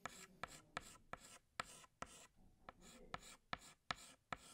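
Fingertips hold a green chalk stick and scratch it across a large flat black chalkboard while drawing leaves. Gritty, rasping strokes are broken by eleven sharp chalk taps that ring bright and high and stop almost at once.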